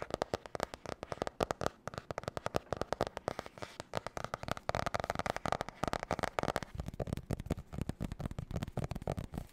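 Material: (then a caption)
Cardboard. Long nails tap and scratch fast across a glossy marbled spiral notebook with a cardboard cover, lying flat and solid. Dense, irregular bursts of short, dry clicks with a midrange hollow tone and a soft low thump barely ring out. Brief scratchy rasps fill the gaps.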